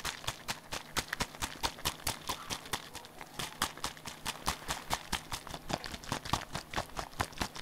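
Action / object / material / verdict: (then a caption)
tap / small plastic bottle / plastic / none. A small hollow pink plastic bottle is shaken rapidly in one hand and tapped with the fingers, giving a quick, fairly steady stream of about 44 short, dry, bright clicks and taps. Each hit dies away almost instantly over a faint low background hum.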